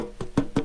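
A metal Royal Dansk Danish cookie tin is tapped three times to let listeners hear it, ahead of a discussion about blocking wireless car key fob signals. Each tap gives a short, hollow, woody-sounding knock with a low-mid tone around 277 Hz that dies away in under a tenth of a second.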